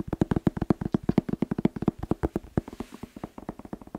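A whole fresh red bell pepper, hollow and hand-sized, is tapped quickly with fingertips and nails, giving a rapid run of about 27 short, dry, hollow knocks with a low resonant tone near 210 Hz. The taps fall fast but unevenly, and each dies away almost at once. The run softens slightly toward the end.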